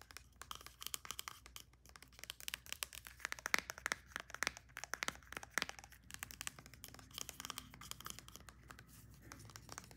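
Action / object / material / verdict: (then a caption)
tap / small plastic pump bottle / plastic / none. Long nails rapidly tap and scratch the plastic body of a white Olaplex No.9 pump bottle of about 90 ml, held upright and then tilted. The result is a quiet, dense stream of sharp, dry clicks with bright, scratchy rasping that stops instantly after each hit, with almost no low-end weight.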